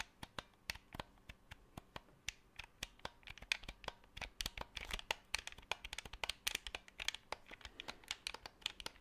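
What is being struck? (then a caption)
Plastic game controller. Fingertips and nails tap, scratch and click the buttons and shell of a black hollow plastic Xbox 360 controller close to the microphone. The sound is a rapid, uneven stream of sharp, bright clicks and taps with almost no ring, mixed with soft scratching in between.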